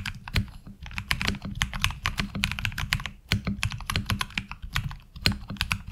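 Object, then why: Mechanical keyboard with ABS plastic keycaps. Fingertips of both hands type steadily on a HyperX Alloy Origins Core tenkeyless mechanical keyboard with black ABS keycaps and tactile switches, resting on a desk mat. The result is a dense, continuous stream of short, crisp clacks with bright tops over a low, thocky body, each keystroke dying away almost instantly.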